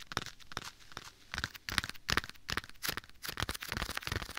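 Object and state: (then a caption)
Leather glove. Bare fingertips tap and pat a soft, hollow black leather glove worn on one hand and held beside a binaural microphone's ear. The quick, irregular pats come about two or three per second, each a short, dull thump with a crinkly, bright leather texture, carried on an applied echo effect.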